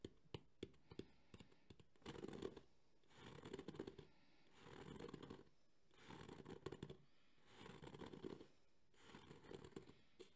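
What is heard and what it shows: A thumbnail scratches the textured face of a black JBL hard EVA speaker carrying case held in both hands. A few sharp clicks open the clip, then repeated rough scratching bursts, each about a second long, alternate with brief pauses. The scratching has a dense low-mid rasp with a bright, hissy top.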